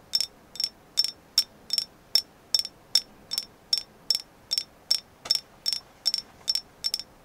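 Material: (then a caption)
Agate. Steady tapping on a carved agate moon goddess figure gives 19 short, bright clicks at a fairly even pace over about seven seconds. Each tap is crisp and high-pitched with a faint ring and almost no low end, dying away almost at once between hits.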